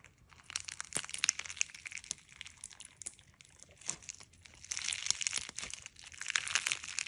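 A handful of clear slime packed with small polymer clay fruit slices (watermelon, kiwi, strawberry), a soft, solid mass, is squeezed, kneaded and pressed by fingertips and thumbs. It gives bright, crunchy crinkling and crackling in dense bursts, with quieter gaps between them and almost no low end.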